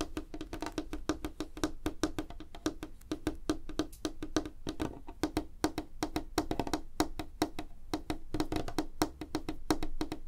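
Fingernails tap fast on a flat, solid, light wooden tabletop, fingers clawed. The rapid clicks are dry and short, with a woody knock around 300 Hz and bright, crisp edges, continuing in a steady, uneven patter throughout.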